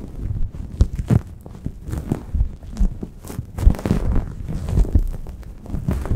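Long painted acrylic nails scratch and rub a soft grey microfiber towel draped over a Blue Yeti microphone, at both fast and slow speeds. The result is a muffled, deep rumble of thumping, brushing scrapes, with nearly all the sound in the low bass and no bright hiss.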